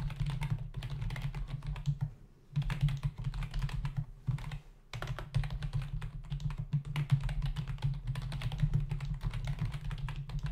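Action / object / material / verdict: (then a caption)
tap / plastic membrane computer keyboard / plastic / none. Fingertips of both hands type rapidly on a full-size black plastic membrane keyboard with hollow keys resting on a dark desk. Dense, hollow plastic key taps run together in a steady, low, thuddy patter, with brief pauses around 2.5 and 4.5 seconds. The typing then picks back up at the same quick pace.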